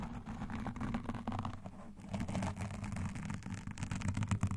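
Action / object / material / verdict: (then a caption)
scrape / foam microphone windscreen / foam / none. Long nails and metal claw rings, on alternating hands, rapidly scratch and lightly tap a black foam microphone windscreen. The result is a dense, muffled, bassy rustle of scratching with quick soft taps throughout, the low end dominating and little high brightness.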